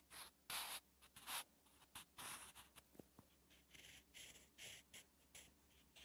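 A wooden graphite pencil writes characters on a lined notebook page with short, continuous scratching strokes. The soft, papery scratches are bright and high-pitched, arriving in irregular bursts separated by brief quiet gaps.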